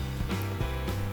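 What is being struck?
Nothing is struck.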